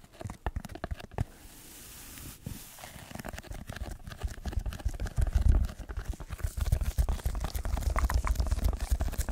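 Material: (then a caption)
Foam. A red layered foam block is bent and squeezed in the hands while fingertips scratch across it. Dense, irregular crackling and crinkling scratches run throughout over soft, muffled low thumps. The sound grows busier and louder in the second half.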